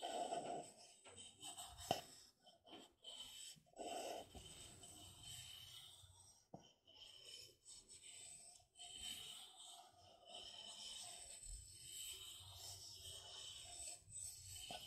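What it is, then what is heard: Plastic party cup scratched and rubbed. Long black-painted nails scratch and rub the rim, inside and outer wall of an empty, hollow, thin-walled red plastic party cup held on its side. The result is quiet, bright scratching and rasping with a faint hollow tone of around 690 Hz, broken by a few sharp clicks.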